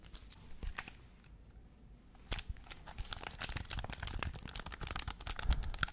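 A black, hand-sized, hollow plastic Nintendo Switch Pro-style game controller is held in both hands near the mic and quickly tapped and scratched with pink-painted fingernails across its shell and buttons. A fast, irregular stream of dry clicks, taps and crinkly scratching starts sparse, goes quieter in the middle, then turns dense and busy toward the end.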